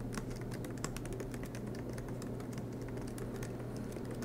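Both hands type continuously with fingertips on a silver MacBook Pro laptop, tapping its low-profile black plastic keys set in an aluminium body while it sits on a desk mat. A steady stream of soft, quick clicks and taps runs over a low, constant hum.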